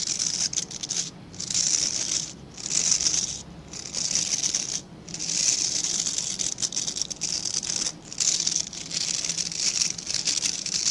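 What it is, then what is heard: Plastic bristle brush. Fingertips scratch along the dense, dark synthetic bristles of a hand-sized plastic-backed scrub brush. The result is a bright, crackly, rattling hiss with almost no low end, coming in steady bursts separated by brief pauses.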